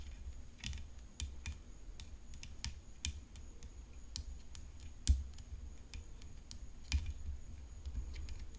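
Long fingernails tap on the hollow composite frame of a rhinestone-decorated tennis racket resting on black cloth. Light, dry clicks come at an uneven pace, each a brief bright tick that dies away almost instantly over a steady low hum, with a couple of sharper, louder taps standing out.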